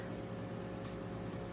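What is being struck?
Nothing is struck.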